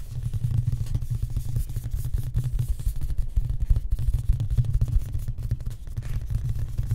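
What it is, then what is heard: Wooden cabinet door. A raised-panel wooden cabinet door with a bevelled frame and a large flat solid panel is tapped rapidly with the fingertips and short nails of both hands. The result is a steady stream of dull, low thuds with almost no ring and no bright content.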